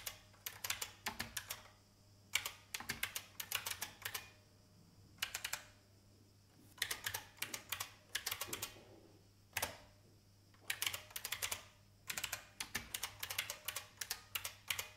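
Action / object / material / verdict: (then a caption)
tap / plastic mechanical computer keyboard / plastic / none. Fingertips with long painted nails type on an old, full-size, beige IBM plastic mechanical keyboard with a hollow case. Bursts of quick, bright, clacky key taps come in short runs separated by brief pauses. Each tap dies away almost instantly, with very little low end.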